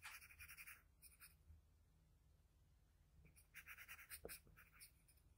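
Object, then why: Graphite pencil on a paper drawing sheet. The graphite tip of a wooden pencil makes small scratching strokes near the cheek of a pencil portrait on a flat white sheet of drawing paper. Quick bursts of bright, dry scratching come at the start, fade into a quiet pause, then return as a denser run of strokes with a soft low tap before trailing off.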